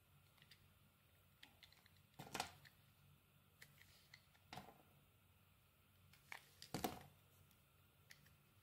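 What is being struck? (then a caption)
Bar of soap. A utility knife blade slices thin layers off a solid oval mint-green bar of soap held in the hand. Soft, crisp scraping ticks sit over a quiet low hum, broken by three louder, brighter slicing cuts that stop short with almost no ring.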